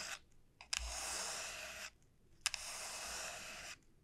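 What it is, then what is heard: Dried bottle gourd. Long painted nails and fingertips tap and scratch along the hard, hollow shell of a large, elongated dried bottle gourd lying on a felt mat. Sharp clicks open two long, bright, hissing scratches, each lasting about a second, with near-silence between them.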